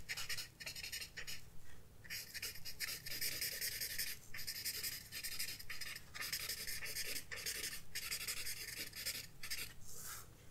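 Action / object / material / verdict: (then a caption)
scrape / paper sketchbook page with graphite shading / paper / none. A paper blending stump is rubbed back and forth over graphite shading on a flat paper sketchbook page. The strokes make a bright, dry scratching hiss that comes in repeated bursts with brief pauses between them. A steady low hum sits underneath throughout.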